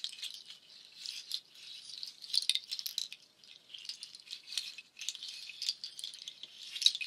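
A nut shell waterfall shaker, long cord strands of dark hollow nut shells, is lifted and let fall or shaken so the shells clatter together. The result is a dense, dry rattling made of many quick, bright clicks with no low end, centered around 3.8 kHz. It comes in uneven waves, with louder bursts near 2.4 seconds and again at the end.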